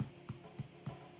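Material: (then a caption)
Bread. A freshly baked wholemeal loaf, tipped out of its tin, is tapped four times on the bottom, giving short, dull, low thuds that die away quickly. It sounds hollow, meaning the loaf is cooked through.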